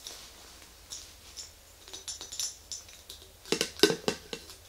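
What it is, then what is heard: Glass mason jar with metal lid. An empty, medium-size clear glass mason jar with a screw-on metal lid is tapped and scratched with long green acrylic nails, then tilted and set upright. Light, bright clicks and scrapes come in an irregular run, growing into sharper, louder ticks near the end, each dying away almost at once.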